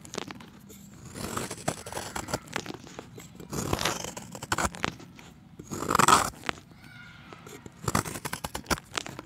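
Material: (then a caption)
Chalk. A steel utility knife blade scrapes and shaves the face of a solid round chalk disc, curling flakes off. Dry, crunchy scraping comes in short bursts with quiet gaps between, the loudest stroke near the six-second mark. Each scrape has a gritty, bright texture that stops almost instantly.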